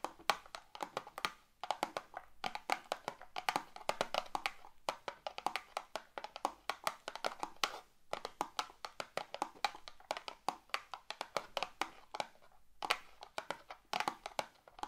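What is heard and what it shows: Long neon green acrylic nails tap and scratch the surface of a small closed cardboard box of fireplace matches, filled with matches and held upright in both hands. Rapid, dry clicking taps with short bright scratches come in bursts separated by brief pauses. Each tap dies away almost at once, with a hollow midrange tone around 830 Hz.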